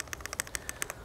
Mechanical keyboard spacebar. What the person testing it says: this space bar right here sounds solid to my ears